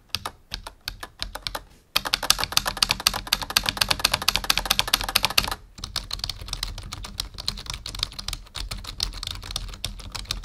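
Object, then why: Plastic membrane computer keyboard. Fingertips of both hands type on a full-size black plastic membrane keyboard resting on a wooden desk. A few scattered, bright key clicks open the clip, then give way to fast, dense typing with short, dry taps. After a brief pause near the middle, steady typing resumes to the end.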